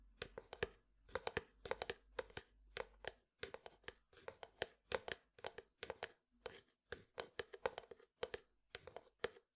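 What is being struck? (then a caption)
Frosted plastic jar. A medium frosted plastic jar with white contents is tapped and scratched with fingertips and nails. Quick, dry taps come in rapid clusters, each with a hollow tone around 500 Hz, a bright click and almost no ring, with faint scratching between them. The sound is quiet and close overall.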